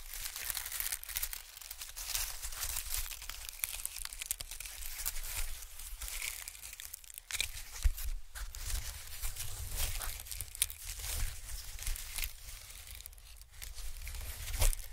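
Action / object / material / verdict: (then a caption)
scrape / honeycomb-cut packing paper / paper / none. White honeycomb-cut packing paper is pulled open and stretched between both hands, crinkling. A steady stream of dry, bright crackles and tearing-like rustles runs throughout, with a few sharper snaps over a low rumble.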